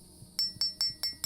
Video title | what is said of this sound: This Rifle has lasted over 30,000 RDS!! MK2 11.5 SBR Update - OPTIMUS 6 LBB Suppressor 4 WARFIGHTERS | Rings like a bell. If it has a stress fracture, you'll have it like dull like that.